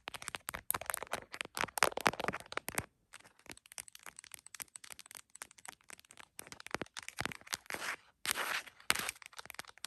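Long nails tap rapidly on the top and camera area of a tripod-mounted iPhone in a printed plastic case. The result is a dense stream of dry, crackly clicks with a bright edge and almost no low end, broken by a few brief pauses.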